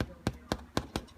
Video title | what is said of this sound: Grandmas homemade potato bread | hollow so they're all done that's the sound you're looking for when you're testing your loafs